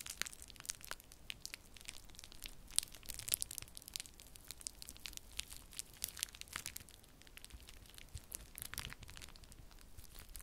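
Clear plastic bubble wrap is wrung in the fists, then spread flat between the fingertips. It makes a steady, quiet stream of bright crinkling, broken by many sharp, short pops and crackles that die away almost instantly.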